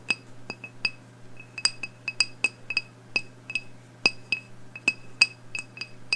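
Long blue nails tap on the glass of a medium, wax-filled black glass candle jar with a label and a lit candle inside. About 19 quick, bright glassy clinks with a clear ringing tone near 2.6 kHz come in an irregular rhythm and die away almost instantly, over a steady faint low hum.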